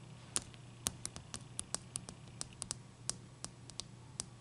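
Long dark-painted nails tap on top of a large, clear, solid ice cube resting on a towel, making a quick, irregular series of sharp, bright clicks. Each click dies away almost instantly over a steady low hum.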